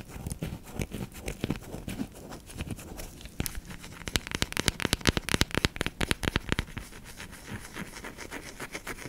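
A flat, solid, cream-white bar of soap, palm-sized and thinly cut, is held in one hand and scratched and tapped with long manicured fingernails. Quiet, crackly scratching gives way to a denser run of sharp, bright clicking taps in the middle of the clip before easing back to softer scratching.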